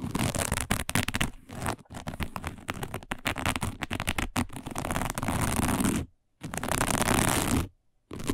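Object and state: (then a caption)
Woven fiber placemat. Long nails of both hands scratch quickly and roughly across a round, dark, coiled woven fiber placemat that is flat and thin. The result is a dense, crackling rasp with a low rumbling undertone, broken by two brief silences near the end before the scratching resumes.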